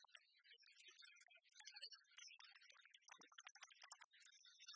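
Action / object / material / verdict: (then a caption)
tap / oversized metal coin replica / metal / none. Long fingernails scratch and tap on the face and edge of a giant copper-coloured 1909 one-cent coin replica made of solid metal. The result is a quiet, dense stream of fast, crisp clicks and scratchy rasps. The sound is bright and high with almost no low end, and each tap dies away quickly.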